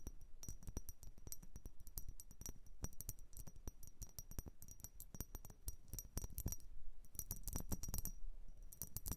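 Long nails tap and scratch the sides of a tall, hollow, dark blue ribbed glass vase that appears empty. Rapid, dense clicking taps with a bright high ping sound over a soft scratching rasp and faint low thumps, continuing steadily throughout.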